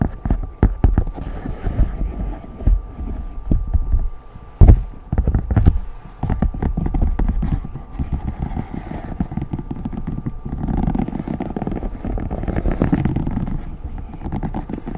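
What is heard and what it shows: A hand taps over the hollow bubbles of a large rainbow silicone pop-it fidget sheet held up in the air. Quick, dull, low-pitched taps come in irregular bursts, with a few sharper knocks early on, then settle into a denser, softer patter toward the end.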